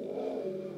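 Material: Nothing is struck.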